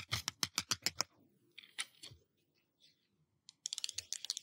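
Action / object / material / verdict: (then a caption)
tap / glass surface / glass / none. Fingertips or nails tap on a glass surface: a quick run of bright, clicky taps, then a few faint scattered touches and a short pause before another fast burst of sharp taps. The sound is almost all high, crisp ticks with very little low body and no ring after each tap.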